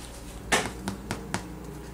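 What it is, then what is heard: Baked loaf of bread, sounds hollow (done). A small loaf of bread, just taken out of the oven, is tapped four times, giving short, dry, hollow knocks that fade quickly. The hollow sound shows the bread is baked through and done.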